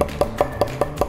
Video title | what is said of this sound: EL MEJOR JAMÓN COCIDO - Paso a paso - @MarcosSomana | ¿Cómo sé que llega al hueso? Porque se escucha básicamente cuando lo golpeo con la punta del cuchillo.